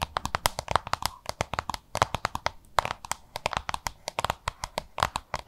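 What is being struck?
Small plastic lunch box.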